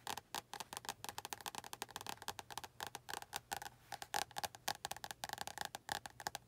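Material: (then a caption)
Card. Long nails tap and scratch the glossy card front cover of an orange paperback book held at an angle. Dozens of quick, dry, clicky taps with very short decay mix with brief scratching, each with a mid-range body around 750 Hz and a bright edge.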